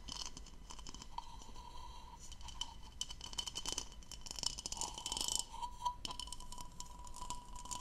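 Long nails scratch and tap the diamond-patterned bowl of a hollow, empty blue textured plastic goblet as it is turned in both hands. The result is a dense run of quiet, bright, dry scratching and crisp clicky taps with almost no ring, over a faint steady tone near 1 kHz.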